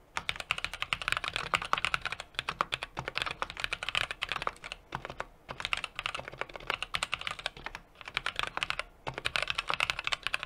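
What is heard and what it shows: A small 60% mechanical keyboard with an aluminum case, brass plate and plastic keycaps is typed on rapidly with the fingertips of both hands. A steady stream of sharp, bright, short clacks comes in quick bursts, with only brief pauses between runs of keystrokes.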